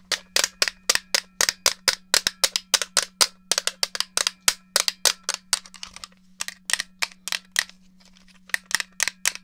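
Long gold-tipped nails tap quickly on the surface and buttons of a hollow silver and black plastic GameCube controller held in one hand. Around forty sharp, bright clicks sound with almost no ring, over a faint steady low hum. The tapping briefly thins out and pauses before a final quick burst.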